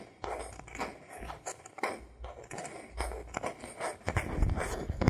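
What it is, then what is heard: Bamboo board. A thin, solid bamboo board is held level in both hands while fingertips tap and scratch across its surface. The result is a close, dry series of soft taps mixed with papery scraping, with dull low thumps underneath and light, bright scratchy edges.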